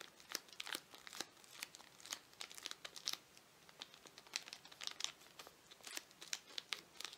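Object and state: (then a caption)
Plastic-wrapped toffee bar. A toffee candy bar in a crinkly plastic wrapper is held in both hands while fingers crinkle and squeeze the wrapper and tear at its end. Dense, bright crackling and snapping plastic crinkles come in quick uneven bursts with no low end. A short tearing rip mixes into the crinkles.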